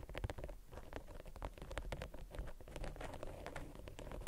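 A crinkled waxed cotton beeswax wrap roll lying on a table is scratched and tapped quickly with long acrylic nails. The result is a dense, steady patter of short, dry crackles and taps with almost no ring, sitting in a soft low rumble throughout.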